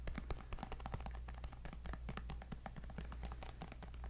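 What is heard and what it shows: Fingernails tap rapidly on the glass screen of a white tablet held upright in a black folio case. The sound is a fast, quiet stream of dry, clicky taps with almost no ring, over a steady low hum.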